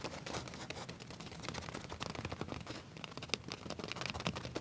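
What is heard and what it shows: Fingernails of both hands scratch and rub flat black leather trousers near the back pocket. The result is a quiet, continuous stream of dry, rapid scratchy strokes with crisp, bright clicks and faint rubbing underneath.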